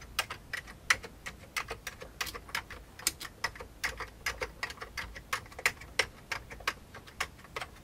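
Fingertips type on the keys of an old beige plastic computer keyboard, producing about 27 short, sharp clicks in an uneven rhythm. The clicks are bright and dry with almost no low end, and each one dies away instantly.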